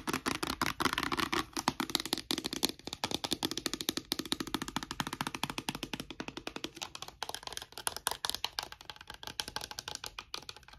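A small, partly full clear plastic bottle of micellar-water-type cosmetic liquid with a pink plastic cap is held in one hand and tapped rapidly with short fingernails. The result is a fast, continuous stream of dry, bright, clicky taps with a slight hollow plastic tone and almost no ring.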